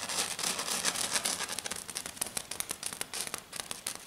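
Long dark nails scratch a flat silver glitter foam sheet, first with one hand and then with both hands. The result is a fast, uneven run of bright, hissy scratches with crackling texture, mostly high-pitched and with little low end.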